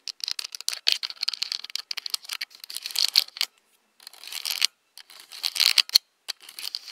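Long nails tap and scratch the hollow plastic body of a handheld black Nikon DSLR camera. Rapid, bright clicking taps and dry scratching sit almost entirely in the high frequencies with no low-end thump. The bursts are dense and irregular, broken by short pauses.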